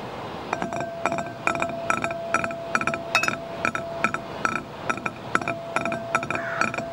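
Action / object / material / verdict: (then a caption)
tap / shallow glass bowl / glass / none. Fingertips and nails tap and scratch the inside bottom and wall of a shallow, empty, clear green-tinted glass dish. Quick, bright glassy clinks repeat at an uneven pace, each dying away almost at once. A faint steady tone and soft scratching hiss run underneath.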